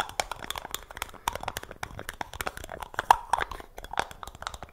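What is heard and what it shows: A small, hollow, round black plastic jar with a screw lid is held in both hands while fingertips handle, twist and tap the lid. The result is a rapid, irregular run of dry, sharp clicks and taps that die away almost instantly, with a hollow tone centred near 900 Hz and little low end.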